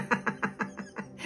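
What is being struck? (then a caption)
Plastic ink bottle with agitator ball. A bottle of metallic acrylic ink is shaken, and the mixing ball inside rattles back and forth in seven quick, evenly spaced clicks. The shaking stirs up the metallic pigment in the ink.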